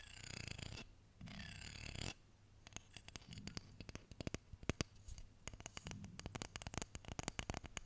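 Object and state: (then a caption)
Wooden comb. A solid wooden hair comb with a dark wood handle and light wood teeth, held close to the mic, has fingernails scratching and flicking along its teeth. Two raspy, broadband scratching passes come first, then a long run of sharp, bright little clicks and flicks. A low hum sits underneath throughout.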